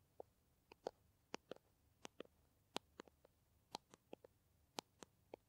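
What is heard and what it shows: Long nails tap and scratch along the body of a small, upright, green plastic squeeze tube of Kamill hand cream that looks filled and flexible. About fifteen sharp, quiet clicks come at an uneven pace, each dying away almost at once. The clicks are mid-pitched with bright edges over a faint hush.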